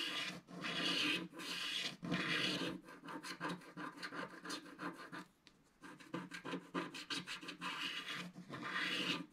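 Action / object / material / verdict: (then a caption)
scrape / black-coated scratch-art paper scraped with a wooden stick / coated paper / none. A thin wooden stick scrapes the lower left of a flat, black-coated scratch-art paper page, making dry, bright rasping. Long, steady scraping strokes give way to a run of short, quick scratches. After a brief quiet pause, more short scratches lead back into long, loud strokes at the end.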